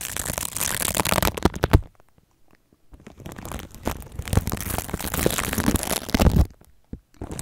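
The bristles of a red plastic toothbrush scrub and scratch clear plastic cling film wrapped around a microphone, making close, crinkly scratching bursts with a heavy low rumble. The scrubbing comes in dense stretches, with a quiet gap around two to three seconds and brief pauses near the end.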